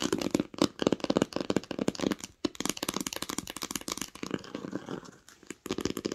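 Long acrylic nails tap and lightly scratch the embossed, textured cover of a green hardcover book lying flat on a blanket. The result is a fast, uneven run of crisp, dry clicks and faint scratchy rasps with no ring, broken by brief pauses near 2.4 and 5.5 seconds.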